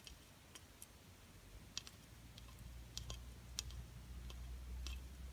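A small, solid, glitter-coated plastic butterfly ornament in silver and gold is held in the hand and tapped and scratched with long painted nails. Sharp, bright clicks with almost no ring come at an uneven pace over a quiet, low rumble.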